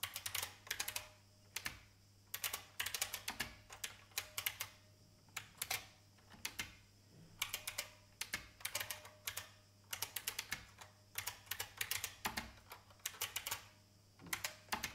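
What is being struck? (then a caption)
Plastic mechanical computer keyboard. Fingertips with long painted nails tap the keys of an old beige IBM full-size plastic mechanical keyboard with a hollow case. Quick bursts of crisp, bright, clacky taps are separated by short pauses, and each tap dies away almost at once. A faint low hum sits steadily underneath.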